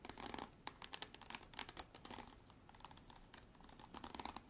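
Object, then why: Hard plastic bottle. Long artificial nails tap and scratch a hard plastic bottle for ASMR. The result is quiet, rapid clicky taps mixed with dry, bright scratching, each tick dying away almost at once, in clustered bursts with brief softer gaps between.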